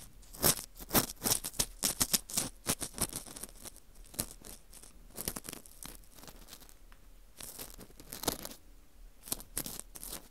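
A dry, porous slice of dried wheat gluten fu shaped as a ring is scraped inside its center hole with an orange plastic earpick. The result is a quick run of crisp, bright scratching and crackling strokes that come in irregular bursts. Quieter stretches fall between the bursts.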